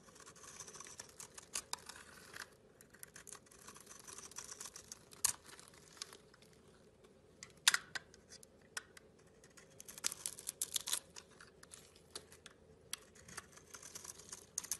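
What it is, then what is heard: Bar of soap being shaved. A metal blade shaves a solid, hand-sized blue and white bar of soap held in a hand with long red nails, cutting off curls and crumbs. Quiet, bright, crisp scraping and crackling come in many short strokes with a few sharper snaps, over a faint low background hum.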